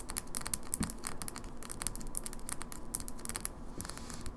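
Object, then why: Small glass cosmetic bottle with pump cap. Long fingernails tap rapidly on a small glass cosmetic foundation bottle with a plastic pump cap, partly full of liquid and held in the hand, striking both the glass and its labelled base. The result is a dense, quick patter of sharp, bright clicks that die away almost instantly over a soft low background rumble.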